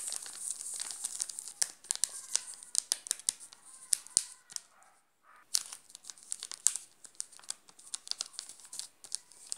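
Fingertips scratch and crinkle the shiny yellow plastic wrapper of a full, sealed Garoto chocolate bar. Dense, bright crackles and sharp crinkling snaps run throughout, with a brief quiet pause about halfway through before the crinkling resumes.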